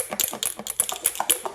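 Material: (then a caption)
Glass. A glass mason jar holding cream, salt and marbles is shaken to make butter, and the marbles help agitate the cream. About a dozen quick, bright glassy clicks and rattles are heard as the marbles knock around inside, with almost no low end and very short decay between hits.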